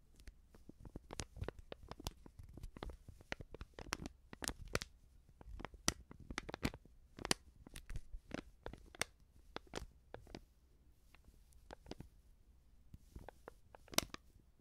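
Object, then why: Small filled coated-paper sachet. Fingertips and nails squeeze and crinkle a small, filled Backpulver baking powder sachet made of coated paper. Quiet, sharp crackles and crinkles come in irregular bursts, each snapping off almost instantly, bright at the top over a faint low rumble.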